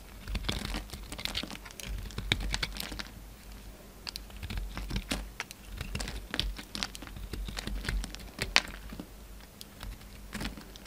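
A steel utility knife blade shaves a hand-sized solid orange soap bar held in the hand into a faceted shape, with crumbly flakes falling off. Many quick, dry scraping and crackling cuts patter along with bright, short bursts over a low hum, with no ringing after each stroke.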